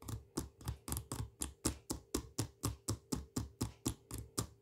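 Fingernails tap and scratch the side and label of a full, medium plastic jar of smooth peanut butter with a blue plastic lid. Nineteen short, dull taps come at a steady pace of about two per second, each a low thud with a brief bright scratchy edge that dies away almost at once.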